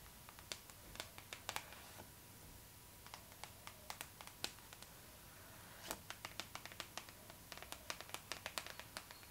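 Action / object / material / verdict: tap / glossy paper magazine / paper / none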